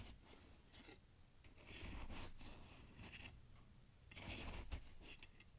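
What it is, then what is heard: Packed snow in a glass jar being cut. A knife blade is stabbed and dragged through fresh snow packed into a glass jar. It makes crunchy cutting and scraping sounds in uneven bursts, with bright crisp hiss over a low rumble. The sound is quiet, with a louder, rougher scrape near the end.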